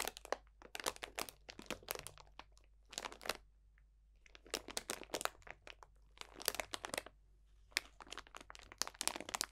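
Fingertips of both hands squeeze and crunch a clear cellophane bag full of dried potpourri, orange slices and leaves. The result is bursts of bright, crisp crinkling and dry crackling separated by brief quiet pauses.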